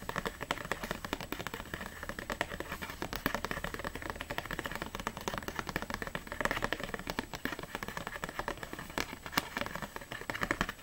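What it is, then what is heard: Paperback book tapped and scratched with nails. Long nails tap and scratch quickly across the glossy paper cover and spine edge of a small, solid paperback manga book, Ousama Game Extreme volume 1, turned sideways. The result is a dense, continuous run of short, dry clicks and scrapes centered around 1.1 kHz, with a brighter papery hiss above.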